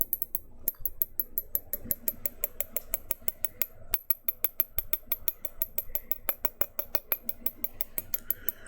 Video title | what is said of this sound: [ASMR] Glass Tapping & Others Glass Sounds | from the bottom, a little simple tapping. Simple and clean.